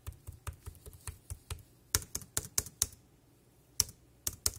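Fingertips of a single hand type on the round keys of a dark grey plastic wireless keyboard, producing quick, dry, bright clicks with a soft low thump under each. The keystrokes come in an uneven run, a few louder and sharper, then pause before a last few taps.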